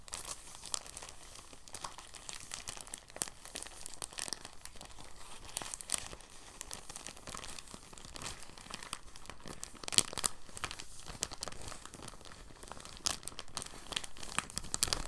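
A clear, thin, soft plastic bag is rolled and unrolled under both hands, giving a continuous, gentle crinkling across the whole clip. The sound is dense, dry and bright, with scattered sharper crackles standing out from the steady rustle.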